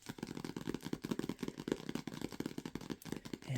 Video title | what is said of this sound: ASMR ('lofi') Low Light ✨ Soft Spoken Rambles & Tapping on Toltec Wisdom Books ✨🪶 🐉 | it sounds good when you tap on it